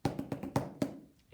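A foam pool noodle is tapped lightly with rhythm sticks as a found instrument, giving seven short, dull, muffled thuds in an uneven rhythm. Each tap dies away almost at once with little high ring, a soft sound that is different from other objects and doesn't travel far.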